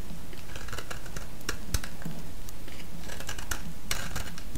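A solid pale yellow bar of vintage soap, held in the fingers, is shaved with a utility-knife blade. Crisp scraping and cutting clicks with bright edges sound in quick irregular succession over a steady low rumble.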